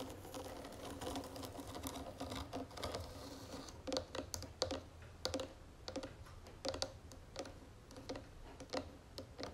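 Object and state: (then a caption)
Wooden jewelry box tapped with fingernails. Long fingernails of both hands tap rapidly on the sides of a round wooden jewelry box with gold trim. The taps come as quick, uneven, dry clicks with a hollow mid tone around 520 Hz and a brief bright edge, each dying away almost at once over a low steady background hum.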